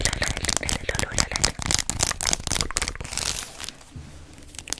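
Long acrylic nails tap and scratch along a long white faux-leather belt with round metal studs, held in both hands close to the mic while it is handled and flexed. Rapid, irregular crinkly clicks and scrapes sound bright and crisp, with dense ticking throughout. The activity thins out and grows quieter over the last second and a half.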